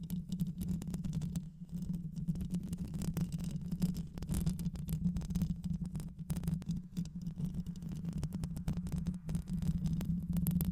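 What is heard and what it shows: Long nails scratch the mesh grille of a black hollow microphone with both hands throughout, producing a steady, dense scratching and rustling. The sound is dominated by a low hum-like rumble around 170 Hz, with many fast, crackly scrapes flickering up into bright frequencies.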